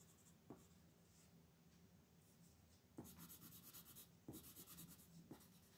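A blue wooden colored pencil colors a thin printed paper coloring page lying flat on a dark wooden table, held down with one hand, in short, repeated back-and-forth strokes. Quiet, steady scratching and rubbing turns into louder, brighter scraping bursts in the second half, with a few soft taps where the pencil meets the paper.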